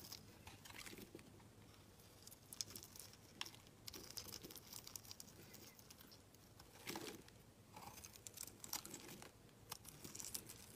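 A solid, rectangular, translucent green glycerin soap bar held in the hand is shaved with a metal utility-knife blade, each scraping cut peeling off curly shavings. The audio is a quiet run of crisp, bright scratching and crinkly rasps with short, dry strokes and no ring. A few stronger cuts stand out above the steady scraping.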